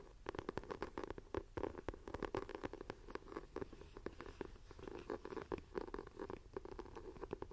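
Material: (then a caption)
Faux leather. Long nails scratch the textured cover of a closed dark green leather-look binder journal lying on a table. The result is a dense run of quick, dry scratching strokes with a warm midrange body and little high sparkle, each stroke dying away almost at once.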